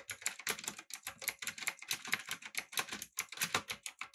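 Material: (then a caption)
Plastic, aluminum. Both hands type rapidly with fingertips on a full-size backlit typewriter-style mechanical keyboard with blue switches, an aluminum frame and round plastic keycaps. The result is a fast, steady stream of crisp, bright clicks with very short decay and almost no low end.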